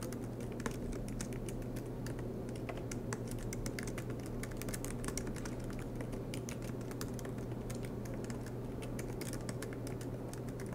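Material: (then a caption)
Plastic. Both hands type continuously with their fingertips on a silver MacBook Pro laptop, tapping its low-profile black plastic keys set in an aluminium body while it rests on a desk mat. The clip is a steady stream of soft, quick clicks and taps that stay bright and sharp. Underneath runs a low, constant hum.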